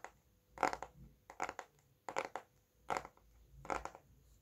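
A solid red Bescherelle conjugation paperback with a glossy card cover is held upright and tapped with fingertips and nails. Five short bursts of quick, dry, crisp taps come with quiet pauses between them, each tap dying away almost at once.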